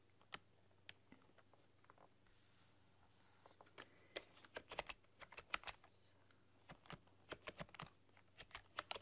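Long dark-polished nails and fingertips type on a full-size plastic computer keyboard with black keycaps and a rainbow backlight, pressing and clicking the keys. Twenty-four sharp, dry, bright clicks come in sparse bursts at first, then in faster runs from about the four-second mark. A faint steady low hum sits underneath.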